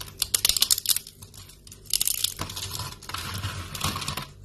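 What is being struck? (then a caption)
Soap shavings. Thin, brittle strips of dry yellow soap shavings are snapped and crumbled in both hands over a pile of flakes. Clusters of sharp, dry crackles and snaps come in bursts, followed by a steadier, denser crunching. The sound is bright and crisp, with almost no low end and no ring after each snap.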